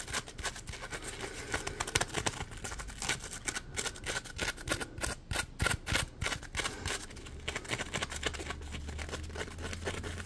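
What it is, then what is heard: Polymer foam scrub sponge. Fingertips squeeze, rub and scratch the ridged surface of a small, soft yellow Scrub Daddy-style textured polymer foam sponge held in both hands. The result is a fast, irregular stream of dry, crackly scratches and clicky ticks with bright, airy texture. A faint low hum rises near the end.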